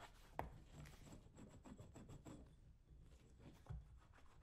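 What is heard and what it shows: A metal blade scraper is drawn across the leather upper and toe of a brown leather lace-up work boot worn on a foot, while the other hand steadies the boot. Soft, low, dry scraping strokes rasp along at a quiet level. Two sharper clicks stand out near the start and near the end.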